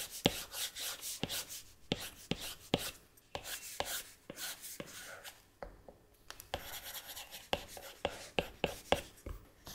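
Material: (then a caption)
Glass. A plastic stylus nib taps and rubs across the flat glass touchscreen of an iPad tablet while painting shapes. Sharp, short clicks repeat through the clip, with soft, bright scratchy strokes in between at a low volume.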